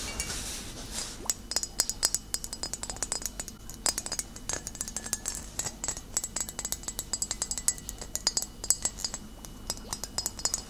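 Fingernails tap on a full glass vinegar bottle of amber liquid with a label and metal cap, first while it stands upright and then while it is tilted, tapping the glass near the base. The result is a rapid, uneven run of dozens of bright, high clinks, each dying away almost at once over a faint steady background.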